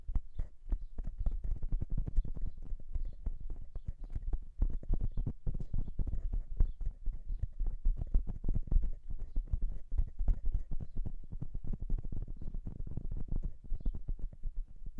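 Fingertips of both hands tap and drum quickly on the metal capsule housings of a silver dual-capsule microphone. The dense, rapid, deep thumps and short clicks come through heavy and low, each dying away almost instantly, in a steady patter that resembles clip-clopping hooves.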